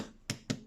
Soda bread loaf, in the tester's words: if you tap it it has a hollow signed can you hear it so that is what you're looking for